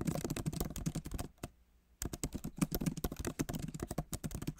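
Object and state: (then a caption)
Laptop keyboard with plastic keys. Fingertips of both hands type on the solid, backlit keyboard of a MacBook Pro, with plastic keys set in an aluminum body. Rapid, soft, dull key taps with a low thud run continuously, break for a short quiet pause near the middle, then resume at the same brisk pace.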